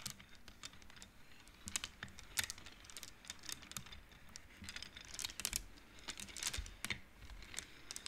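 Both hands push the colored wooden beads of a large wooden-framed abacus along its metal rods, making them clack together. Many quick, dry, bright clicks come in a steady, uneven run at a quiet level, each dying away almost instantly.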